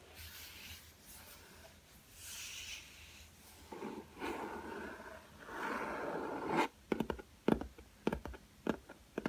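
Fingertips scratch and then tap the black hard cardboard cover of a spiral-bound sketchbook lying flat on a table, with a solid block of paper underneath. Soft, breathy rubbing and scraping swells come first, followed by a series of sharp, dry taps that stop almost instantly with no ring.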